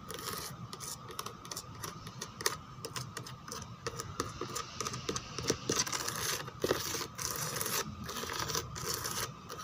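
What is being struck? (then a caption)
Molded plastic chair back with raised relief. Long teal nails tap and scratch the raised rose relief on the back of a white molded plastic chair. The result is a steady stream of quick, crisp clicks and dry scraping with a bright, hissy edge and a faint steady tone running underneath.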